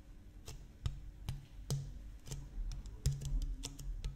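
Fingertips tap an empty, hollow, medium-size clear plastic (PET) water bottle with a blue cap, held horizontally near the microphone. A quiet, uneven series of taps gives soft, low, hollow thuds with brief bright clicks on top. Each tap dies away almost at once.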